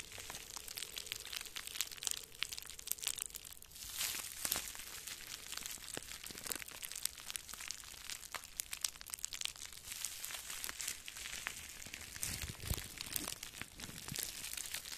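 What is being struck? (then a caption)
Plastic bubble wrap. Two clumps of clear plastic bubble wrap, held in both hands in front of the microphone, are squeezed and crinkled with the fingers. The result is a steady, quiet stream of bright, dry crackling and sharp snapping clicks, dense and high-pitched with very little low end, continuing for the whole clip.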